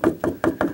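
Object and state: Empty plastic drain pipe (hollow).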